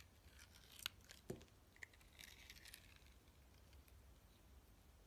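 A box cutter blade shaves and cuts the sides of a solid white soap bar with a blue crust, held in the hand. Soft, dry scraping and crinkly shaving sounds are broken by a few sharp, bright clicks and snaps as the blade bites in. The sound stays quiet and close throughout.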